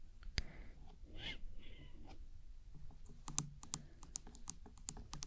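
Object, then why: Plastic binaural microphone body. Long acrylic nails tap and click on the black casing of a hollow binaural microphone body, which looks like plastic, with white ear pieces and an attached cable, held upright in one hand. The other hand moves lightly near the far ear piece. Soft rustling and brushing early on give way to a run of sharp, bright clicks that stop almost instantly, over a quiet low rumble.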